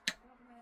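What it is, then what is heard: Dried eggshells, dry and brittle. Oven-dried eggshells are moved together, giving one sharp, bright click like ceramic that dies away almost at once, followed by a faint low hum. The crisp tick shows the shells are dry and brittle.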